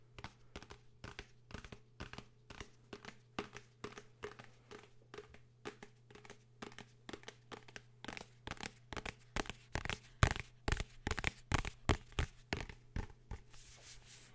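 A blue hardcover book is tapped and scratched in a quick, irregular series of about forty short, dry taps mixed with scratchy rustling. A steady low hum runs underneath, and the taps grow louder toward the end.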